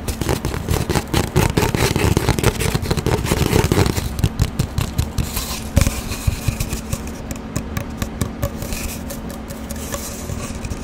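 Long dark nails tap and scratch fast on an empty, hollow cardboard paper towel roll, held horizontally and then upright. The result is a dense, irregular run of dry, hollow thumps and scratchy rasps with a low, boomy body. The sound is busiest and loudest over the first few seconds, then settles into lighter, sparser tapping.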